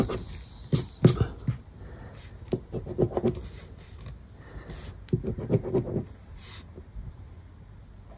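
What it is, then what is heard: Paper scratch card being scraped. A thin paper lottery scratch card, Palavras Sortudas BÓNUS, lies on a wooden table and is scratched repeatedly with the edge of a black round plastic scraper disc held between the fingers. Short, dry scraping strokes come in two bursts around one and five seconds, low and muffled with a faint bright hiss, separated by quieter gaps.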